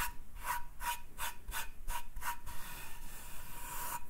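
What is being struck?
Wooden cutting board.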